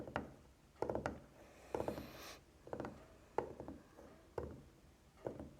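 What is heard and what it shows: Tapping on the wooden part of a burned-out candle produces short, dry taps with a mid-range knock around 470 Hz and almost no ring. The taps come in small, irregular clusters, with a brief brushing rub near the two-second mark.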